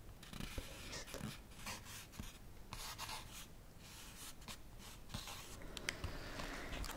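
Fingertips and nails tap and scratch the front of a full, flat plant-based burger pack, a plastic tray in a printed cardboard sleeve. Soft scratching rasps come in bright bursts of noise between light taps, with a low rumble underneath the whole time.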